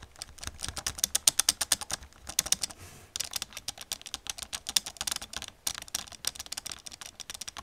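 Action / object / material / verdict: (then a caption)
tap / plastic computer keyboard / plastic / none. Long nails and fingertips type rapidly on a black plastic computer keyboard, producing a steady stream of sharp, bright clicks and clacks. Brief pauses break the typing near 3 seconds and again near 5.6 seconds.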